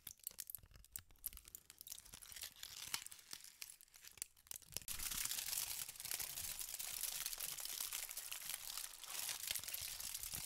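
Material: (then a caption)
Aluminum foil. A thin sheet of aluminum foil is crumpled into a ball by fingertips with pink nails. Sparse, sharp crinkles and snaps come first, then about halfway through the sound turns into a louder, continuous, dense bright crackle. The sound stays high and crisp, with almost no low end.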